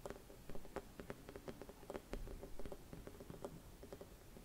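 A hollow, silvered mercury glass Christmas bauble with a metal cap is tapped and scratched with fingernails. Quick, soft clicking taps with tonal glassy ring mix with light scratching over a low rumble. The sound is quiet and dull, and each tap fades almost at once.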